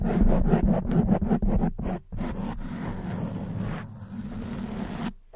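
Long white nails scratch the front of a soft black foam windscreen on a silver condenser microphone. Quick, rhythmic, muffled scraping strokes fill the first two seconds, then give way to a steadier, softer rubbing. The sound stays dull and bass-heavy and fades out at the end.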